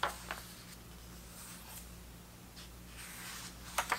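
Fingertips glide across the thick vintage paper pages of a large open hardcover book and turn them, giving a soft, quiet papery brushing. Four short crisp rustles stand out: two at the start and two at the end, over a low steady hum.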